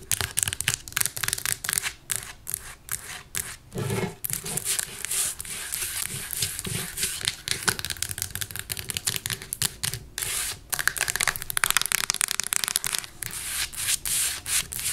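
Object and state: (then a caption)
Plastic tape dispenser. A beige plastic desktop tape dispenser, weighted, mostly solid and holding a roll of tape, is tapped and scratched on its casing with long nails. Rapid, crisp, bright taps mix with raspy scratching strokes, each tap dying away almost instantly with a dry, clicky character.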